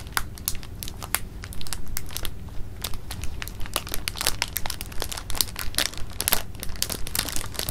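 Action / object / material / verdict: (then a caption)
scrape / clear plastic bag of jelly beans / plastic / none. A clear plastic bag of jelly beans held in the palm is squeezed and crinkled by the fingers. It makes a steady run of sharp, bright crackles and crinkles at an irregular pace over a low, constant rumble.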